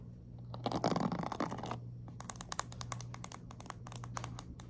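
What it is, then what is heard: Plastic paddle hairbrush with pin bristles. Long nails scratch and flick through the ball-tipped pin bristles of a black plastic paddle hairbrush. A dense, bright scratching rasp fills the first second or so, then gives way to a quick, irregular string of sharp, crisp flicks. A low, steady hum sits underneath throughout.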